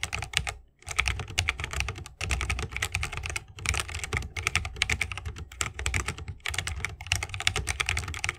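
Fingertips of both hands type continuously on a 60% mechanical keyboard with plastic keycaps and tactile Holy Panda switches, set in a bamboo wooden case. The result is a rapid stream of bright, sharp clacks with a low thocky body, broken by a few brief pauses.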